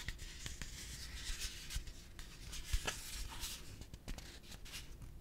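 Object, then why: Hollow plastic piggy bank. A yellow hollow plastic pig piggy bank is held in one hand and tapped and scratched with the fingertips. Dry, bright scratching and rubbing is broken by short, sharp taps with no ring, over a steady low hum.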